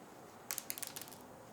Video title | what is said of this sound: What Liquids Will Orbeez Absorb? | They're still very hard. There's no, they didn't absorb anything.